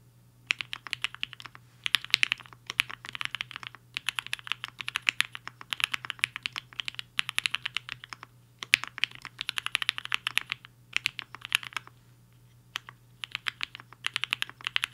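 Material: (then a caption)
Plastic. Fingertips of both hands type on a black-cased 75% mechanical keyboard with a hollow case and white and pink plastic keycaps, resting on a desk mat. Quick bursts of bright, clacky keystrokes with very short decay come in runs separated by brief pauses, over a faint low hum.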